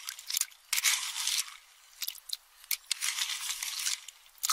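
A metal spoon stirs and crushes empty pistachio shells in a small, round, hand-held metal bowl that is about half full. The result is bright, dry crunching and scraping in uneven bursts with short pauses between them, and almost no low end.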